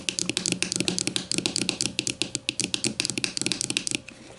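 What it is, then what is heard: Plastic deodorant stick. A grey plastic deodorant stick lying on its side on a table is tapped quickly with the long matte nails of both hands. The result is a rapid, uneven stream of dry, bright clicks that die away almost instantly, with a faint low hum underneath. The tapping stops just after four seconds.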